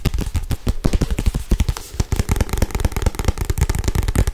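A thick paperback Harry Potter book with a glossy cover, held in one hand, is tapped fast with long acrylic nails. A dense run of quick, dull, low-pitched taps with almost no ring follows, continuing unbroken throughout.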